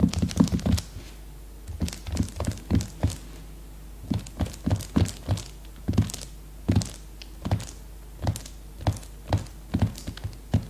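Long red-painted nails tap and drum quickly on the cellophane-wrapped cover of a plastic-sealed leopard-print hardcover notebook lying flat on a placemat. Clusters of fast, dull thunks with a crisp, crinkly click on top come in short bursts separated by brief pauses. Each tap dies away almost at once over a faint steady hum.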